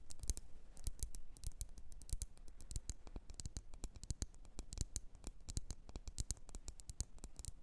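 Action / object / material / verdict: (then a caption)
tap / glass candle jar filled with wax / glass / none. Long red nails tap the sides of a lit red glass candle jar with printed text, filled with wax. A rapid, steady stream of short, crisp clicks, each bright and dying away almost instantly with only a faint glassy ring.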